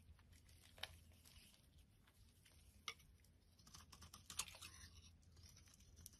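A solid white ribbed bar of soap, held in the hand, is scraped with a metal blade into flakes. Soft, bright, papery scraping runs throughout, broken by three sharper, crisp cuts. Each cut stops almost instantly with no ring.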